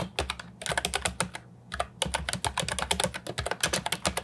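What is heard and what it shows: Fingertips type on an Ajazz 308I, a compact hollow plastic keyboard with round typewriter-style retro keycaps, producing about 28 quick, bright, clacky keystrokes with very short ring. The typing comes in bursts with two brief pauses, over a faint steady low hum.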